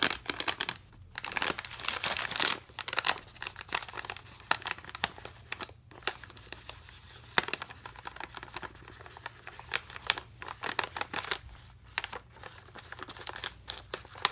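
A full plastic foil bag of Aloo Bhujia, held in one hand, is scratched and tapped with a metal pen tip. Bright, crinkly rustling comes with rapid sharp clicks and scratchy bursts, each dying away almost instantly, over a faint steady low hum.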